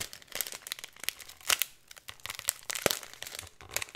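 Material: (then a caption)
Plastic. A thin plastic packet of glitter with a cardboard header is crinkled and rubbed with fingers and nails, giving a dense run of bright, crisp crackles and rustles with almost no low end. Sharper bursts stand out around 1.5 and 2.9 seconds, with a brief lull near 2 seconds.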